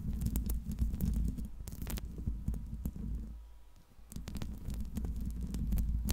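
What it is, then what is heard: Metal microphone grille. Long pink nails scratch across the hollow metal mesh grille dome of a silver Blue Yeti microphone. The scratching comes through as a dense, deep, rumbling scrape dotted with sharp, bright clicks. It fades briefly to near silence at about three and a half to four seconds before resuming.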